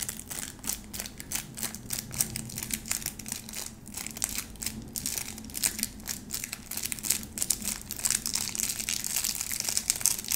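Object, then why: Bar of soap in plastic wrap. A small round bar of soap in pleated white plastic wrap is held in the hands while long nails scratch across the wrap's face and edge, crinkling it. The result is a steady run of quick, bright scratching and crinkling sounds with sharp, short-lived peaks, over a faint low hum.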